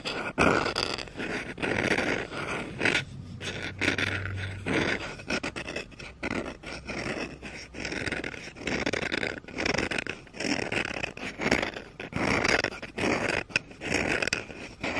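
Red-painted nails scratch the back of the bowl of a solid wooden spoon lying on carpet. The result is a steady run of quick, dry, rasping strokes with a bright, hissy texture, rising and falling in short bursts throughout.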